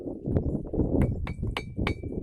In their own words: అనేక రాళ్ళు లోహధ్వనిని వినిపిస్తూనే ఉన్నాయి.